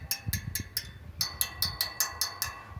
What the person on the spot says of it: se a gente raspar tem um som e se a gente bater tem outro som sons diferentes na mesma grade